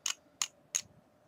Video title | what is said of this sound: The Eagle VV & VW Mod ( aka vamo ) | It just rattles. It does work, but you hear the battery rattling and it'll turn on and off as it makes contact